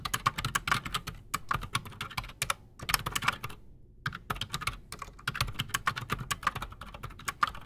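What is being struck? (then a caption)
Mechanical keyboard with PBT plastic keycaps. Both hands type fast with their fingertips on a solid, full-size black Redragon Shrapnel K589 mechanical keyboard on a desk, fitted with Outemu Silent Sky silent switches and Razer PBT plastic keycaps. The result is a dense run of short, dry, bright key clicks with almost no ring, with a brief pause just before the four-second mark before the typing picks up again.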